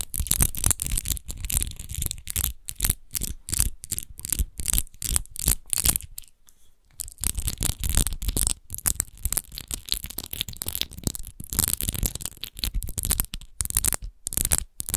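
Long nails scratch quickly across the textured surface of an empty, hollow clear glass wine bottle with an embossed rose base. The result is rapid bursts of dry, bright scraping over a low, hollow rumble, with a brief near-silent pause about midway before the scratching resumes.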